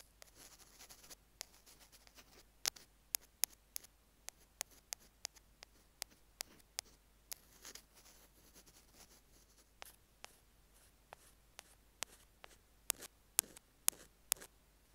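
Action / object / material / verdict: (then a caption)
tap / small plastic earphone remote tapped with metal picks / plastic / none. Two metal ear-pick spatulas tap and scrape across the surface of a small white plastic earphone mic/remote resting on a jade stone. Roughly two dozen sharp, bright, dry clicks come at an irregular pace over a faint, hissy scraping bed, with almost no low end and no ring after each tap.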